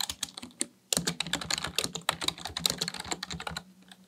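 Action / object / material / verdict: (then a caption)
tap / plastic membrane computer keyboard / plastic / none. A black plastic Dell KB1421 full-size membrane desktop keyboard with a hollow housing sits on a desk as the fingertips of both hands type fast on its keys. About 25 short, bright plastic clicks with soft hollow thumps underneath come in quick runs, with a brief pause just before the one-second mark. The tapping then thins out toward the end.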